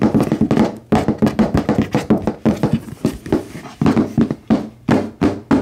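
A medium red HyperX-branded cardboard product box, hollow and apparently full, is held in both hands and tapped with fingertips and nails. The result is a fast, uneven series of short, hollow, papery knocks and clicks, with a low-mid body and little ring.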